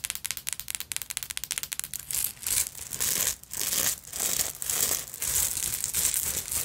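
Long acrylic nails scratch across a black beaded sequin fabric purse, raking over its beaded body and bead fringe. About two seconds of quick, clicky bead rattles give way to longer, bright, hissy scratching swells that rise and fall in waves.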